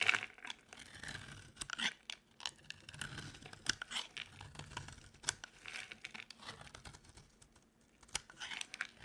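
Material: Soap.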